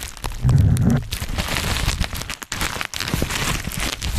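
Black plastic bubble wrap is held in both hands around a microphone while fingers pop the bubbles and crinkle the plastic. The result is a steady stream of close, dense crackling and sharp pops over a low, muffled rumble that swells heavily in the first second. There are two brief near-silent gaps before the crinkling resumes.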